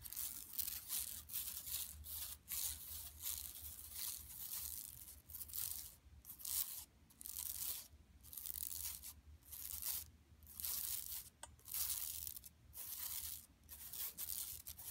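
Long nails scratch with both hands across a large, flat, empty yellow woven plastic mesh tote bag lying on carpet. The result is quiet, bright, raspy scratching in irregular bursts with short pauses between strokes, over a faint low hum.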